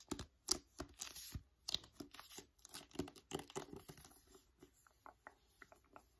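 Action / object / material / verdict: tap / paperback book with card cover / card / none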